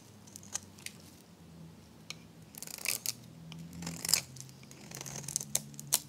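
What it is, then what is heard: Dry soap bar being shaved. A metal blade shaves curls from the surface of a solid, dry, varnished hot-pink oval soap bar. The result is crisp, bright scraping and crackling bursts at an irregular pace, with a few sharper clicks over a faint low hum.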